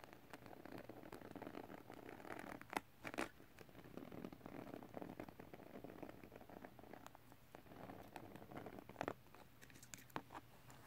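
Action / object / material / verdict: scrape / glitter paper sheet / paper / none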